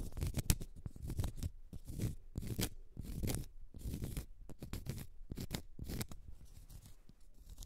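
Long nails scratch the side and end face of a large solid cork stopper held in the hand. The sound is a series of quick, dry, rasping scratch strokes with a low, muffled body and brief bright edges, each stroke stopping almost immediately.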